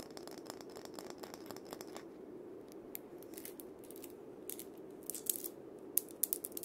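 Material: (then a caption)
Steel beads. A wooden cabasa with a wooden handle, its cylinder wrapped in loops of steel bead chain, is gripped, rubbed and rotated by hand. It gives a quiet, bright, ratcheting metallic rattle: rapid dense clicking for the first two seconds, then sparser scraping bursts. Sharper, louder rattles come near the end.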